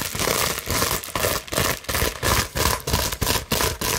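A large clear plastic bubble wrap sheet is scratched with long nails, making fast, crinkly scratching and crackling bursts. The bursts repeat about three times a second at an uneven rhythm, with bright, hissy texture and a short decay between strokes.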